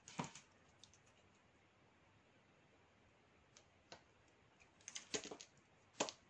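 A metal utility knife blade shaves and scrapes flakes off a solid, palm-sized oval bar of dry black soap (Dudu-Osun) held in one hand. Short, crisp, bright scrapes and clicks come in irregular bursts, with quiet gaps between them. The strokes stop sharply, with almost no ring after each one.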